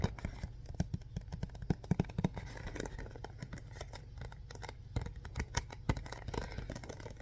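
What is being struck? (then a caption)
Printed cardboard box set. A hollow printed cardboard Mr. Bean DVD box set is gripped, tapped and scratched by fingertips and short nails. It gives a steady run of dull, low, quick taps with soft scratchy rustling between them. Every tap dies away almost at once.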